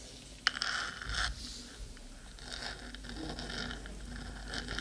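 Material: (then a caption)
Metal. Long pointed acrylic nails on both hands scratch along the top of a hollow, black, metal cylindrical 3Dio binaural microphone body near the ear. A sharp tick opens a run of bright, raspy scrapes and scratches, followed by a steadier, quieter stretch of fine scratching with a hiss-like high edge.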